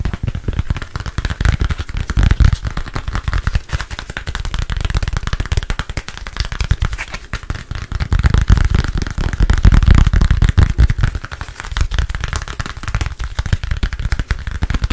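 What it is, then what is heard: Smartphone. A solid, handheld black smartphone is tapped rapidly with fingertips and nails close to the microphone. The result is a dense, continuous stream of short, dry clicks and thumps, mostly low-pitched, that swell louder around two seconds and again from about eight to ten seconds.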